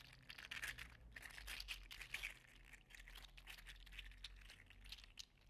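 A hand-sized, hollow-segmented, gold-green 3D printed plastic slug toy, likely PLA, is held in one hand and flexed and squeezed with the fingers. Its interlocking segments make a dense run of quick, bright clicks and scratchy rubbing, peaking around 2.3 kHz, over a faint steady low hum.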